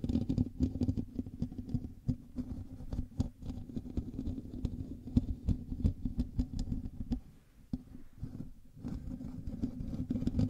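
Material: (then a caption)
Metal mesh. Both hands scratch the hollow metal mesh grille of a black USB microphone with fingertips and nails. The result is a dense, low, rumbling scratchy patter full of quick dry clicks and brief sharp ticks. It eases into a quieter stretch near the eighth second before picking back up.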